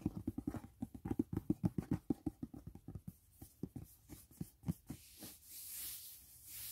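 Fingertips lightly tap the lid of a closed, hollow white rigid cardboard gift box resting on grey bedding, giving 26 quick, uneven, hollow thuds with a low body that fade after about five seconds. The clip ends with a soft, airy, high rustling swell.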